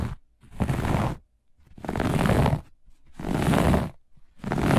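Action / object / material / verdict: scrape / looped pile carpet scratched with fingernails / textile / none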